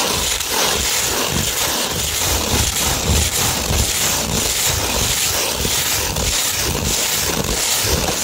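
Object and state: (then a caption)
Sandpaper sheet being scratched. Long red nails scratch a slightly curved sheet of 240-grit sandpaper. The result is a continuous, dense, gritty rasp that is mostly bright hiss, with soft low thumps pulsing underneath. The level stays steady throughout.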